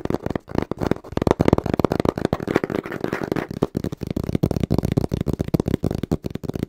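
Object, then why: Small cardboard box. A small, hollow brown cardboard box is held in both hands and tapped quickly with the fingertips, and is moved around a little near the microphone. The result is a fast, rhythmic run of dull, hollow thuds, mostly low and mid in tone, with almost no bright edge and no ring after each tap.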